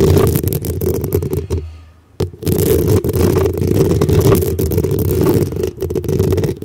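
Long acrylic nails scratch and tap rapidly on the hollow black metal mesh grille on top of a desktop microphone. The sound is a dense, boomy rasp with a strong low rumble and a steady midrange ring. It drops to near silence for a moment before a sharp tap restarts the continuous scratching.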